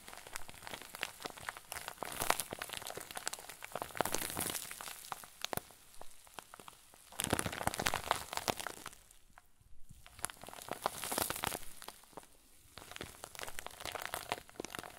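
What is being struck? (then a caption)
Plastic zip bag with soft fluffy filling. A clear plastic zip bag full of white fluffy filling is squeezed and kneaded with both hands. Dense, soft crinkling and rustling comes in waves of bright, crackly bursts, with brief quieter lulls between handfuls. The result is a steady, close crinkle texture with no other sounds.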